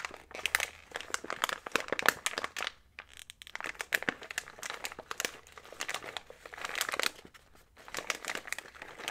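A small printed plastic snack bag full of trail mix is held close while fingertips squeeze, fold and rub the crinkly plastic along its sides. Dense, bright crackling and crinkling comes in rapid bursts, with short quiet gaps around three seconds and seven and a half seconds.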